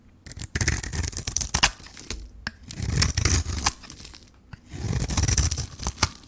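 A metal blade shaves the pink coating and the white core underneath off a hand-held solid bar of dry soap. Crisp, bright scraping and crackling strokes come in three bursts, each with a soft low rumble beneath, separated by short quiet gaps.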